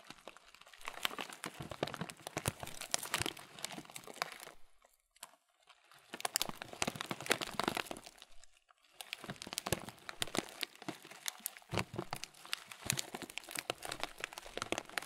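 A transparent thin plastic bag, partly full of oat muesli, is squeezed and crinkled with the fingers. Dense, bright crinkling and crunching comes in three long bursts, with short near-silent pauses between them.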